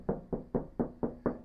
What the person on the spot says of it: it sounds like a metal drum